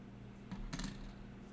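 A pressed copper souvenir penny from the Oregon Coast Aquarium, made on a crank machine, gives two quick, bright clinks, with a short high metallic ring over a steady low hum.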